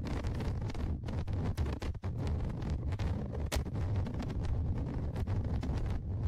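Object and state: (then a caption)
Scratching on a recorder's microphone grille. Tweezers scratch and rub the top microphone grille of a Tascam DR-100mkIII recorder, a metal mesh on a plastic body. The contact sounds as a dense, rumbly handling noise centered low, around 70 Hz, with many quick scraping ticks and occasional brighter scratches throughout.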